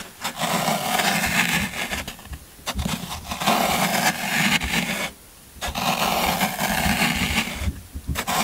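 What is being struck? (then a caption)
Floral foam block. A metal scraper tool rakes repeatedly across the surface of a solid green floral foam brick, producing a crumbly, rasping scrape. Long broadband strokes with bright, gritty texture are separated by short pauses, including one near-silent gap midway.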